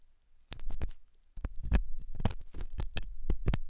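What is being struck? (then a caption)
Silicone ear model scraped with a metal tool. A hooked metal dental tool scratches inside the ear canal of a white translucent silicone ear model made of soft, solid rubber, likely fitted on a binaural ear microphone. Short, close scratching strokes come through as dull, low thumps and rubs with a faint bright edge. They arrive in a brief burst, pause for a moment, and then continue in a longer irregular run.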